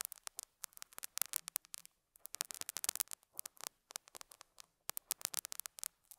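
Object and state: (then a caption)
Felt pad. A metal dental scaler hook scratches and picks at a small square beige felt pad on a lapel mic. The result is quiet, bright, crackly bursts of rapid scraping and picking clicks with short pauses between clusters, with almost no low end.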